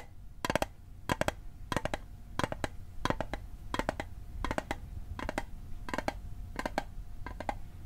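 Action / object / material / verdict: tap / small metal mint tin / thin metal / none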